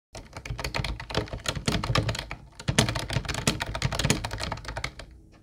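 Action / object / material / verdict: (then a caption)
tap / plastic compact keyboard / plastic / none. Fingertips of both hands type fast on a mint-blue plastic compact Ubotie retro keyboard with round white keycaps and a hollow shell, resting on a wooden desk. The result is a dense, continuous stream of quick clacky taps, each with a low hollow thump under a bright click. The burst peaks in the middle and tapers off at the end.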